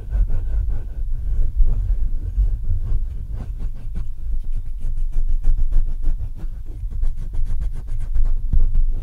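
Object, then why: Metal mesh microphone grille. Fingertips scratch and tap the metal mesh grille of a black Blue Yeti microphone. The result is a continuous, deep, muffled rumble of rapid, irregular thumps and scrapes, heavy in the low bass with almost no high end.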